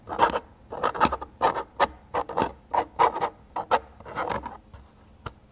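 Fingertips scratch and slide along a small, hollow-sounding black plastic air hockey score counter, a slider rail with numbered sliding markers mounted on the table edge. A quick series of short, dry rasping scrapes comes in bursts, with a midrange edge and almost no low end. The strokes stop cleanly between bursts, and a faint final tick closes the clip.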